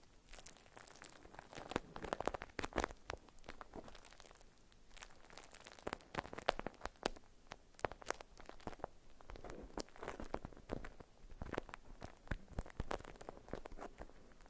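A wrapped parcel of beeswax-coated cotton food wrap is squeezed and scratched with long nails. Quiet, dense waxy crinkles and crackles come in bursts, with brief lulls between them, across the whole clip.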